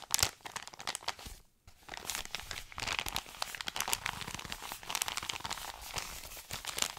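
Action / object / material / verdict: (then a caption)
scrape / kraft-paper padded mailer / paper / none. An Amazon kraft-paper padded mailer is crinkled and rubbed with fingers and short nails, producing dense, bright crinkling and scratchy rustling. A brief near-silent pause comes around 1.5 seconds before the crackling texture resumes and continues steadily to the end.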